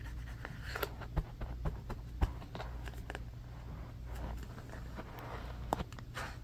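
Fingernails tap and scratch the wooden back and edge of a striped bamboo paddle hairbrush with black bristles, first standing on and then lying on carpet. Quick, dry clicks and short scratchy strokes sit over a steady low hum, with a few sharper taps standing out. The sound stays quiet and close throughout.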